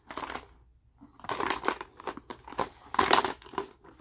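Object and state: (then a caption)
Plastic tackle box with lures, shaken. A translucent hard plastic tackle box, about 20 cm, with fishing lures inside is held in both hands and tilted and shaken so the contents rattle. Bursts of dry, bright clattering and plastic rustling come in uneven clusters with short gaps, centred around 1 kHz and with almost no low end. Each burst stops quickly with very little ring.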